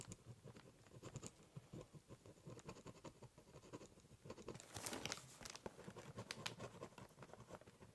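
A ballpoint pen tip scribbles, cross-hatches and scratches short strokes on the top of a large corrugated cardboard box. The result is a quiet, dry, rapid patter of scratchy strokes with a low papery thud underneath, and a brighter, louder burst of scribbling around the middle.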